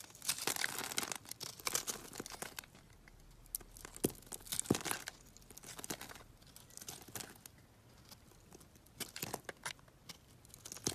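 A solid yellow bar of soap, scored in a grid and held in the palm, is cut with a box-cutter blade so small cubes fall off. Dense, crisp scraping and crumbly crunching sounds come in bright, brittle bursts with short pauses between them.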